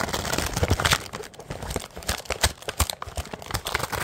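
A medium, filled, printed plastic snack bag of powdered mini donuts is held up in both hands while the fingers squeeze and crinkle its thin plastic packaging. The result is a dense run of sharp, bright crackles and crunches with low thumps underneath, rising and falling in quick bursts throughout.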